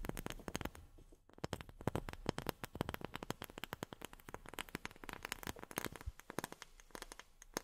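A wooden object is tapped with long fingernails in rapid, irregular bursts, producing crisp, dry clicks with almost no ring. The taps are quiet and close, with a brief pause near the one-second mark before the tapping resumes.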